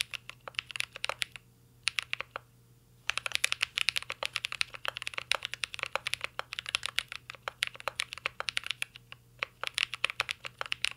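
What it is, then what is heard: Mechanical keyboard being typed on. A mint-green Cyberboard R3 mechanical keyboard with plastic keycaps and an aluminum case is typed on continuously by fingertips. Quick, bright, dry clacks come in dense bursts with a faint low hum underneath, and a brief pause near the start.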